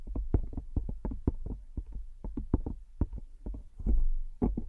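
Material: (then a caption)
Plastic. Long acrylic nails tap rapidly on the edge and back of a smartphone in a pink plastic case, held flat above the microphone. The taps are quick, dull, low-pitched clicks in an uneven, continuous patter with short decays, and the last second holds a slightly louder stretch.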